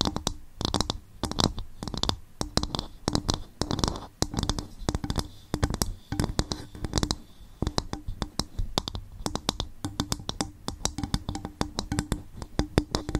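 A bowl made from coconut shell is tapped and scratched by hand. Dense, quick clicks and soft scratches come in uneven bursts with short pauses. Each tap is dry and dies away almost at once, with a low woody body and a bright edge.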